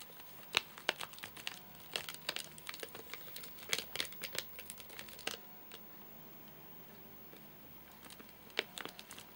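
Several fingertips tap the top of a full, flat rectangular Soft Nougat bar in a crinkly plastic wrapper, making quick, bright crinkling clicks in uneven bursts. The hand lifts briefly, leaving a quiet stretch, before a few final taps return near the end.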